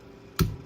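A whole watermelon is banged once by hand before being cut, as one does when picking one out. It gives a single dull, low thump centered around 137 Hz that dies away quickly, with a faint bright click at the onset. No verdict on ripeness is given.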